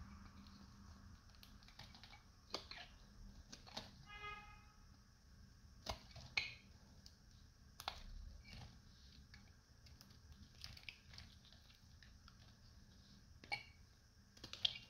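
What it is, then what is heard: Dry, crunchy soap bar being cut. A metal utility knife cuts and scrapes a partly shaved, dried, solid light blue bar of soap, breaking off crunchy flakes. Sharp, bright, crisp clicks and crunches come at irregular intervals over a quiet background hiss, with a brief tonal ring near the four-second mark. Each crunch is very short and dies away almost instantly.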